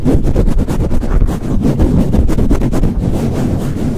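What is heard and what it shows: Fingertips swirl and squeeze a soft, hollow black foam windscreen on a microphone and pat it with a flat hand. The result is a loud, continuous, muffled low rumble with dense, dull thumps and rustling, almost no bright content, and no ring after each touch.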